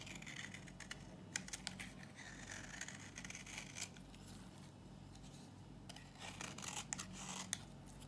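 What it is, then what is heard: Dry bar soap. A knife blade shaves a solid, dry green bar of soap held in the hand, and brittle flakes fall off. Quiet, crisp scraping and crackling strokes come in bright bursts over a faint steady low hum.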